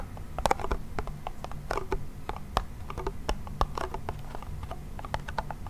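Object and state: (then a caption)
Wooden toy pellet drum. Fingernails scratch across the membrane and rim of a small hollow wooden toy pellet drum. Dense, irregular scratchy ticks and short dry clicks sound over a steady low rumble, with a few sharper taps standing out. There is almost no ring after each hit.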